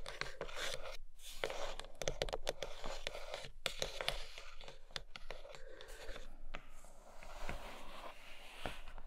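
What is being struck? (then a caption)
Rigid cardboard box lid. Long nails tap and scratch along a grey rigid cardboard box lid lying beyond an open tray. The sound is a dense run of quick, dry taps mixed with rough scratching strokes, steady in level with a bright papery edge and almost no ring after each hit.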